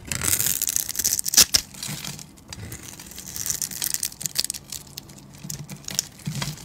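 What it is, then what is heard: Bar soap being shaved into crumbly cubes. A utility knife blade shaves crumbly cubes off a solid, hand-sized white bar of soap that has been cut into a grid. The sound is dry, bright scraping and crunching with quick crackles and a few sharper snaps, each dying away almost instantly.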